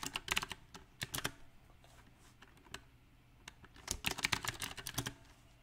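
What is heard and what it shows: Fingertips type on a compact backlit mechanical keyboard with round plastic typewriter-style keycaps, giving bright, sharp clicks that die away almost instantly. The taps come in uneven bursts: quick clusters at the start and around one second, a few scattered keystrokes through a quieter middle, then a denser run near the end.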